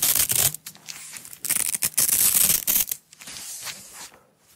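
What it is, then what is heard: Nylon hook-and-loop strap being peeled. A small coiled roll of yellow nylon hook-and-loop (Velcro) strap, a flexible fabric, is peeled apart and pressed together by fingertips with long acrylic nails. Sharp, bright ripping bursts alternate with quieter crackling stretches, mostly high-pitched with little low end.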